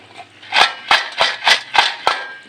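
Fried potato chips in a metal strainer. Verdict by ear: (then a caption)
Crisp. Fried spiral (zanjeeri) potato finger chips, just dished out into a strainer, give five sharp, bright crackling rustles with brief gaps between them. Each burst is dry and short with little ring, showing how crispy the chips are.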